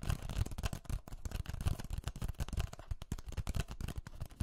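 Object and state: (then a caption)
Clear plastic cup. A small, empty, clear ridged plastic cup, hollow and thin-walled, is held in both hands near the microphones and tapped and squeezed with long painted fingernails. The result is a fast, dense stream of short crackling taps and crinkles with a heavy low thump and very little ring.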